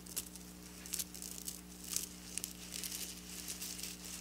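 Long black nails tap and scratch across flat silver sequin fabric. Quiet, bright crinkling clicks and scraping rustles come in short bursts over a steady low hum.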